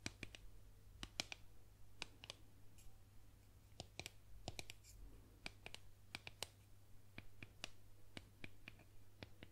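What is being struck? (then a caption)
Painted wooden boomerang. A solid painted wooden boomerang is tapped with long nails and fingertips, giving a quiet, irregular series of short, sharp, bright clicks that die away almost instantly. A steady low hum runs underneath the taps throughout.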